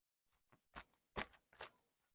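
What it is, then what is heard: Crisp, well-baked pizza crust. A crunch test on a 75% hydration NYC-style pizza crust gives three short, crisp, dry crackles dominated by high frequencies, with a few faint ticks between them. The crunch shows the crust is crisp and baked through.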